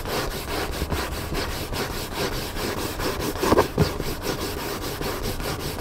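Fingertips and nails scratch back and forth across the paper cover of a large black hardcover book lying flat and solid. Steady, dry rasping strokes repeat in a quick rhythm, with a brief, louder scuff partway through.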